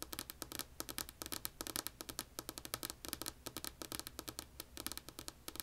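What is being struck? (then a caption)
Wooden tabletop. Long polished nails tap rapidly with both hands on a flat, solid, light wood-grain wooden tabletop, making about 40 quick, bright, crisp clicks that stop almost instantly. A faint steady low hum runs quietly underneath the tapping.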